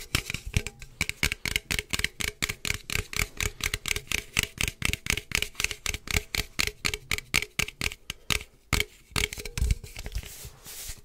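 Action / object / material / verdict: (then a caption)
tap / aluminum drink can / aluminum / none. A standard-size hollow aluminum energy drink can with pink and purple print is held close to the mic and tapped with fingertips and nails. Rapid, irregular taps, roughly two per second, make short, dry, bright clicks with a soft low thump and almost no ring.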